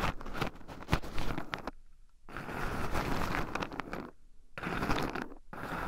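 Two wooden chopsticks stir and poke through a small wooden bowl heaped full of shelled raw pine nuts, with two black microphones buried in the pile so the nuts also rub against them. The result is a dense, close, crunchy scraping and rattling with a low, full body and some brighter clicks. It comes in three bursts separated by two short, quieter pauses.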